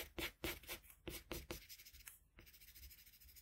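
A red colored pencil tip held in a metal extender makes short rubbing strokes on a flat white drawing paper sheet, near the mouth of the drawing. Bright, scratchy strokes come in quick bursts at first, then soften into a quieter, steady rubbing.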